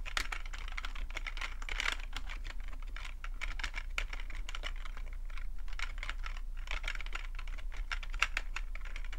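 Fingertips type steadily on the keys of a black full-size plastic computer keyboard. The rapid, continuous stream of short, bright clicks sits over a constant low hum.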